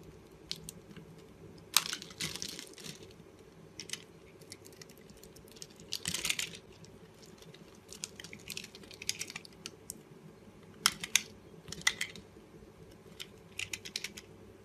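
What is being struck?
Bar of soap.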